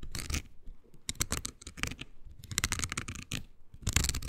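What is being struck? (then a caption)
Silicone scrubber pad with nubs. Long green nails scratch a small, solid but flexible oval pink silicone scrubber pad with nubs. A series of bright, dry rasping bursts is heard, each with a soft low thump underneath and almost no ring after.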